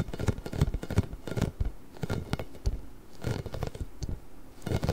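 A large, pink, hollow, inflated rubber ball with nubs is held beside the microphone and scratched and rubbed with nails and fingertips. The result is close, dry scratching and rubbing in uneven bursts, with a heavy low, muffled body and faint brighter scrapes, separated by brief quieter pauses.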